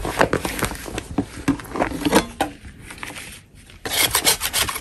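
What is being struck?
Chalk block scraped with a metal blade.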